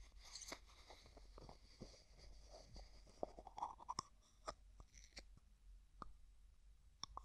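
Fingertips and nails tap, scratch and twist the white plastic lid of a medium, hollow, translucent pink plastic tub. Quiet, dry clicks and crinkly, crunchy scrapes come in an irregular stream, with a few sharper taps standing out. Each tap dies away almost at once.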